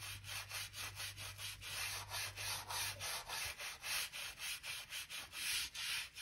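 A narrow bristle brush scratches back and forth along the seam between solid oak floorboards by the skirting, making a rapid series of bright, hissy, scratchy strokes. A faint low hum sits underneath for the first half.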